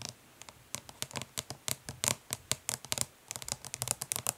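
Long nails tap quickly and scratch lightly on the lid of a flat, hollow plastic eyeshadow palette resting on cloth. The result is a rapid, irregular run of sharp, bright clicks mixed with short dry scrapes, with little low end and no ring after each tap.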